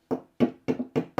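A donking stick taps an old fibreglass repair laminate five times on its white, colour-changed area, making dull, short knocks with almost no ring. The repair sounds dead there, showing it is unattached and detaching.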